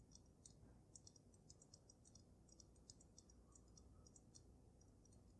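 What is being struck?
Water-filled glass snow globe.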